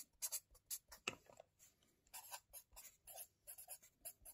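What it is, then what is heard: Felt-tip marker writing on a paper notebook. A hand writes with a felt-tip marker on the lined pages of an open wire-bound paper notebook lying flat on a table, scratching and rubbing the tip across the paper. About ten short, quiet, bright scratchy strokes come in quick bursts with brief pauses between them.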